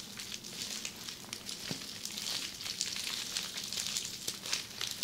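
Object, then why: Plastic bubble wrap sheet. Long red-painted nails on both hands scratch across a flat sheet of red plastic bubble wrap lying on a table. The result is a steady, bright, crackling hiss with frequent sharp little clicks and almost no low end.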